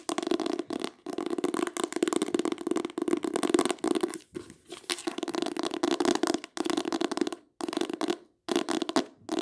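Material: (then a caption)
Cloth, board. Long acrylic nails tap and scratch quickly across the cover of a small, solid, closed green hardcover book with an embossed oval pattern on its cloth/leatherette-covered board, held up in the air. The result is fast, dense bursts of dry, papery scratching and clicking, centered on a mid-range body with little low end, broken by brief pauses.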